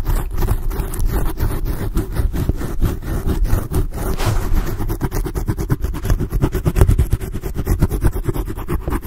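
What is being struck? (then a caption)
Foam microphone windscreen. Long blue acrylic nails on both hands scratch rapidly over a black foam microphone windscreen. The result is a dense, continuous run of deep, muffled scraping strokes with a heavy low rumble and a steady level throughout.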